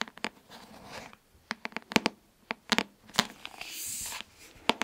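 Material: Cardboard.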